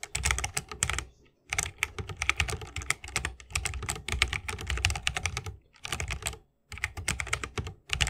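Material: Plastic, wood.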